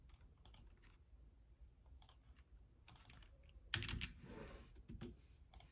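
Fingertips tap the keys of a black plastic Logitech full-size membrane keyboard with a hollow body in a typing motion. Soft, bright clicks come in short bursts over a low background rumble. A louder, heavier clack near the middle is followed by a brief hissy wash before the light tapping resumes.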